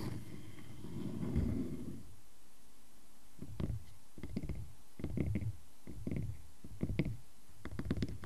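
Fingertips tap and nails scratch the face of a solid round wooden log slice with growth rings, resting on a black surface. A low, soft rubbing scrape for the first two seconds gives way to a scattered run of short, dull, bassy taps with faint bright clicks on top.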